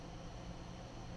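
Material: Nothing is struck.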